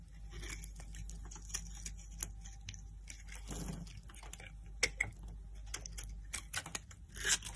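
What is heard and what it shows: A metal knife blade scrapes and shaves the surface of a solid, dry pink-white soap bar held in the hand, cutting it into flakes. Dense, bright crunching and crackling scrapes repeat throughout over a faint steady low hum, with a louder burst of crunching at the end.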